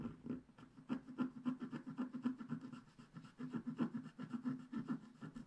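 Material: Wax.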